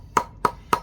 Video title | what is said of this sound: How to Make A Breeze Block | That means it's still connected. We want to hear a hollow sound.